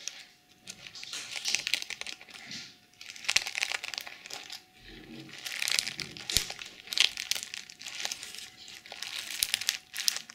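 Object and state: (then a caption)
Sequin fabric pouch. Long chrome nails tap and scratch across a small zippered pouch covered in pink plastic sequins. The result is bursts of bright, crinkly scratching and sharp little clicks, almost all in the high range, coming in uneven waves with brief quiet gaps between strokes.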